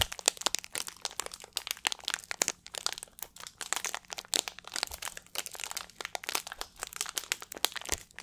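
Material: Plastic.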